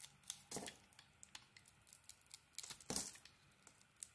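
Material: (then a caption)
Soap. A metal blade shaves a solid green bar of soap that has a white core and a sequin coating. Crisp, bright scraping and crinkling strokes repeat quickly, with two heavier, longer shaves standing out, and little low end.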